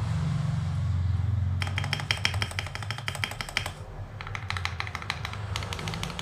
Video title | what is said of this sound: Keycap THIS IS PLASTIC XDA Profile 9mm, chất liệu PBT in Dye-sub, đẹp và rất chất lượng! | Bạn có thể nghe rõ ràng âm thanh rất " thịch" đúng không? Nghe rất "thick"